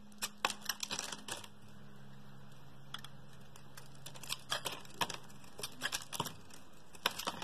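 A metal blade shaves thick curls off a solid, palm-sized blue oval bar of soap held in one hand. Short, crisp scraping clicks come in quick bursts over a faint steady low hum, with a quiet gap in the middle before the carving resumes.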